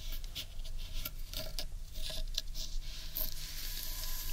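Long nails scratch and rub the underside of a large, hollow, carved wooden bowl. Bright, dry scratching strokes and crisp little ticks rise over a steady low, hollow rumble, ending in a sustained bright rasp.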